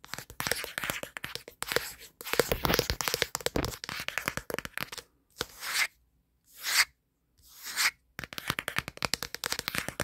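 Fingertips and nails scratch and rub quickly across the flat back panel of a black plastic smartphone, seen in a mirror. It produces dense, bright, crackly scratching with rapid ticking bursts. In the middle, three separate smooth swishing rubs are broken by short silences, before the fast scratching resumes.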